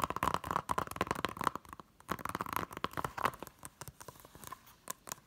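Long nails tap and scratch quickly across the front, spine and back of a small, hollow blue plastic Hunger Games Blu-ray case. The result is a dense run of sharp, dry clicks and scrapes with a hollow ring around 1 kHz, pausing briefly before the tapping resumes in lighter bursts.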